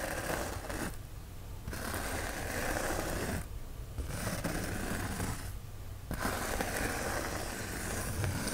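Fingertips and nails scratch and rub across the surface of a white polyethylene foam sheet, making a dense, raspy, squeaky friction noise. The sound comes in four bursts separated by three short pauses, with a steady low rumble underneath throughout.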